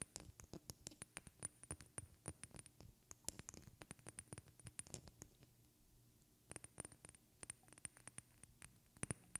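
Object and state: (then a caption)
Glass perfume bottle. A small tinted glass perfume bottle with a white cap, held sideways and partly filled, is tapped with long red-painted fingernails. Quick, dry clicks and taps sound in uneven runs, some hard and some soft, with a bright high ring on many hits over a low hum. A short quieter gap falls in the middle before the tapping picks up again.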